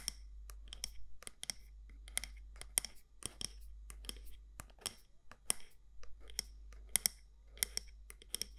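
Long nails tap and scratch the side walls of a medium matte black candle jar, glass or ceramic, with a gold lid. The result is a quick run of short, dry, bright clicks with very little ring, mixed with soft scratchy brushing between them. A steady low hum sits underneath throughout.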